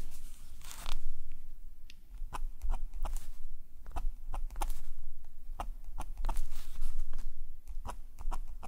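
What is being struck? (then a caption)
Metal pen nib on paper. A metal nib pen, held in a gloved hand, makes drawing strokes on a black paper sketchbook page. Short, bright scratches of the nib across the paper come in quick, uneven bursts over a low, steady background hum.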